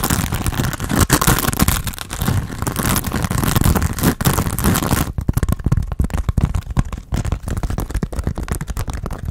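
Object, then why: Foam sponge on a foam handle. A hand-sized grey textured foam sponge on a tan foam base, solid and porous and held in both hands, is scratched and tapped with fingernails. For the first half, the scratching is a dense, continuous, muffled rustle with a heavy low end. It then gives way to sparser, softer taps and scrapes with less high-end hiss.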